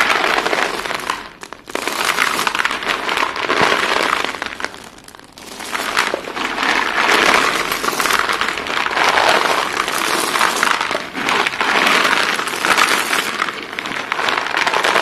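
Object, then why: White chalk sticks. Chalk-dusted hands lift handfuls of small solid white chalk sticks from a heap, let them fall back onto the pile, then squeeze the pieces. The result is a dense, bright, crunchy crumbling and clattering that runs almost continuously, easing off briefly near 1.5 and 5 seconds.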